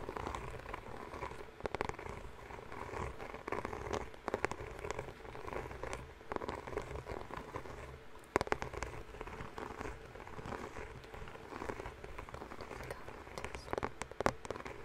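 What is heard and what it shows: A white, rectangular, hollow Band-Aid bandage box, likely cardboard, is held in both hands in front of a foam-covered microphone and tapped and scratched with fingertips and nails. A steady soft scratching and rustling texture, with a low rumble and a purring warmth, runs throughout. Sharper, brighter taps stand out from it now and then, and each one dies away almost at once.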